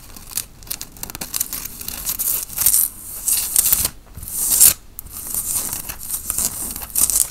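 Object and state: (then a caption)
Cotton t-shirt being scratched. Fingernails scratch the worn grey and black tie-dye cotton t-shirt near its printed logo and collar. Uneven bursts of dry, bright rasping and rustling rise and fade over about seven seconds, with brief quiet gaps and little low end.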